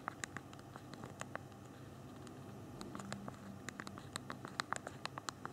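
Thumbs rapidly tap the small plastic keys of a handheld BlackBerry phone's physical keyboard while typing. Quick, irregular, dry clicks with bright, sharp tips stop instantly with no ring, over a low, steady background murmur. The taps fall in uneven bursts and grow denser toward the end.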